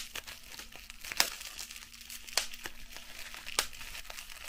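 A clear piece of plastic bubble wrap is held in both hands and squeezed between fingertips and long nails, giving a steady, bright, close crinkling. Three sharp, high pops stand out at even intervals as bubbles burst, each dying away almost instantly.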